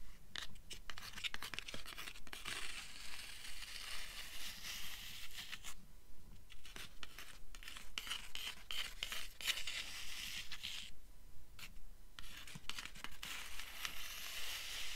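A fast, even run of light fingernail taps mixed with rasping scratches, bright and papery with no lingering tone. The stiff board under a printed cover gives short, dry clicks rather than any resonance. The sound is close and intimate in a small room.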